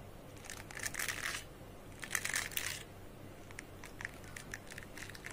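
Fingertips and nails scratch and rub across the dense fine metal wire pins of a small square metal pin slicker brush for dogs, a grooming brush with a metal frame held in both hands. Two longer bright, crackling scratchy bursts give way to a run of short, sharp flicking ticks centered near 1.9 kHz, all over a low, steady background hum.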